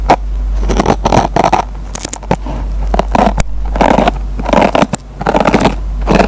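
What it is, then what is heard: Dry kitchen sponge with nylon scouring pad, scratched. A metal pen tip picks and scratches at the fibers of a dry kitchen sponge with a green nylon scouring pad. Repeated bursts of dry, crackling scratches and rasps come in quick clusters with short pauses between them, over a steady low hum. The fibers are scraped and plucked by the pen tip.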